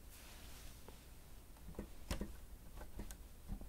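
Fingertips of both hands press and tap the keys of a grey plastic stenotype keyboard with a hollow housing. The result is quiet, scattered clicks and soft, low, hollow taps that die away almost instantly, with the sharpest, brightest clicks clustered just past the middle.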